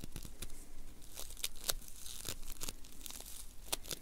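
A palm-sized lump of solid, soft blue foam bead clay (floam) is held close and squeezed, pressed and rubbed between the fingertips of both hands, which have long manicured nails. The result is a steady stream of dense crinkling and crunching with sharp, bright crackles popping out over a low rumble, much like soft tearing.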